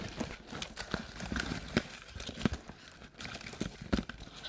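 Long black nails tap and scratch the printed wall of an empty, hollow paperboard Halloween treat bucket tilted on its side with its open rim showing. Quick, dry taps with a hollow low thud ring out among crinkly scratching that rises and falls in bright bursts.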